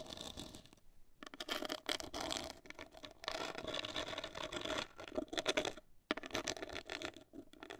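Long acrylic nails scratch the surface of a hollow, black printed cardboard cosmetic box. The result is a dry, broadband scratching with a faint hollow tone around 600 Hz and bright upper content. It comes in dense bursts with brief near-silent pauses around one and six seconds.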